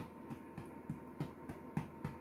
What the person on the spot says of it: it's a little bit of a hollow sound